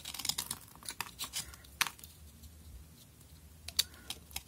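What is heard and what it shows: A utility knife blade scrapes and shaves flakes from the surface of a solid pink bar of soap held in the hand. Quick, irregular scratchy shaving strokes, bright and crisp with almost no low end, come in a dense cluster at the start and then thin out to a few sharper scrapes near the end, each dying away at once.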